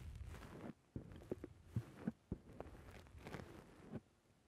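Fingertips push down and squish the soft black rounded foam windscreen on a microphone. Close, muffled low thumps and soft rustling crackles come in uneven presses, with a few sharper soft knocks standing out against a dull, bassy rumble.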